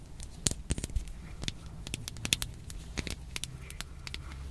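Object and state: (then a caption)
Small hard plastic toy. Long painted nails scratch and tap along the ridges of a small, hollow, hand-sized pink hard plastic toy with a Shopkins-style face, held in the fingers. Quick, sharp, bright clicks and dry crackly scratches come in an irregular patter over a low steady background. Each tap stops almost instantly with no ring.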